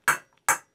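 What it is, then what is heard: Copper sheet not seated on anvil, hollow blow. Two hammer blows on a copper sheet over a steel anvil during planishing, each a sharp, bright strike that dies away quickly with a hollow, dead sound. The copper isn't pinched tight against the anvil, so the blows aren't doing anything, which is not good.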